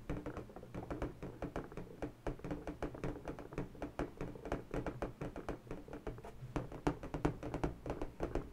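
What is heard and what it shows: Long bare natural fingernails tap rapidly and continuously on an inflated, hollow, air-filled pink latex balloon about the size of a head, held in one hand. Each tap is a short, dull thunk with a low, hollow resonance that dies away almost instantly, and the taps grow slightly louder toward the end.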